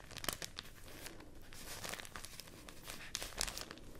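A folded sheet of white rice paper, held in both hands, is crinkled and rubbed with the fingertips. It makes a steady, quiet, bright crinkling and rustling, with a few sharper crackles standing out near the start and toward the end.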